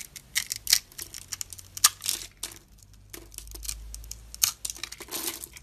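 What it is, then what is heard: Soap bar being cut. A metal utility knife blade cuts a hand-sized solid dark blue oval soap bar with a clear scored top layer into small crisp translucent cubes. Irregular, bright, crisp crunching and crackling snaps follow one another, with a softer steady scraping stretch in the middle. Short dry clicks ring out as the cubes break loose.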